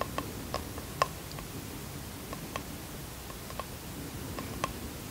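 Fingertips and nails tap and scratch a small bamboo wooden box held in the hands. About six distinct, short, crisp taps stand out, each with a light hollow ring around 1 kHz that fades almost at once. Soft scratching fills the gaps, over a low, quiet rumble.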